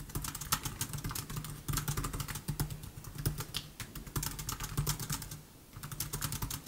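Fingertips of both hands type rapidly on a MacBook Air keyboard of black plastic keys set in silver aluminum. The result is a dense, continuous stream of short, bright clicky taps with very little ring, over a steady low hum, easing briefly near the end before the typing picks back up.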